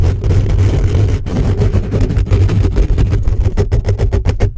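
Fingertips and short nails quickly scratch the hollow metal mesh grille of a black condenser microphone, at times from close up. The result is a dense, heavy, low rumbling scrape with a deep thump near 78 Hz. Toward the end it breaks into faster, distinct strokes.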